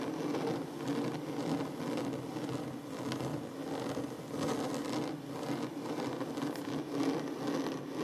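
Fingertips slowly tap and scratch the surface of a large, solid wooden tabletop. The result is a steady, dense scratchy rustle with soft, muffled taps mixed in, centered on a low-mid woody tone. The level stays fairly even throughout, with only gentle swells.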